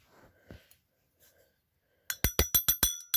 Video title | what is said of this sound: Vintage brass mechanical trip gong bells | I loosened the gong a bit. It might produce more of a ting.